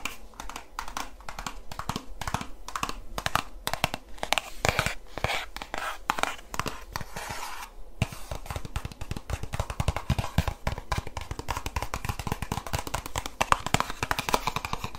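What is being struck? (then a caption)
Plastic squeeze bottle of lotion. A medium white plastic Aveeno lotion squeeze bottle with a red label, hollow and partly filled, is tapped and stroked with long nails and fingertips. The result is a steady stream of rapid, crisp clicking taps mixed with scratchy brushing strokes, each tap short and dry with almost no ring.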